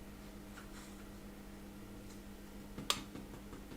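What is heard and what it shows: A single short, dull tap on the bottom of a freshly baked PKU apple muffin, over a faint steady hum. The tap does not ring hollow because the muffin is still a bit squidgy and underbaked, so it needs a few more minutes in the oven to harden up.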